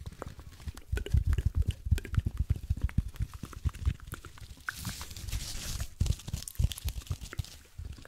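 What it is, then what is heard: Cellulose sponge. A single palm-sized blue cellulose kitchen sponge, porous, soft and dry-looking, is held close to the microphone and squeezed and scratched with the fingertips. A dense run of quick, low, muffled crunching thumps is heard, broken midway by a brighter, hissy stretch of scratching before the soft crunches resume.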